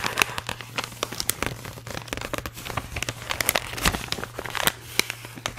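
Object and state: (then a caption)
Metallized plastic foil bag crinkled by hand. An empty, hollow blue holographic metallized plastic foil bag is squeezed and crinkled by hand and fingertips. It gives dense, bright crinkling with many sharp, quickly fading crackles over a faint steady low hum.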